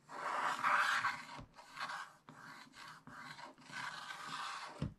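A wooden stylus scratches the black coating off a scratch-art page in a spiral-bound book, working over the giraffe and leaves with back-and-forth strokes. About five dry, raspy scratching passes are heard, each a papery rasp centred in the midrange with a bright hiss, separated by brief pauses. The clip ends with a soft, low thump.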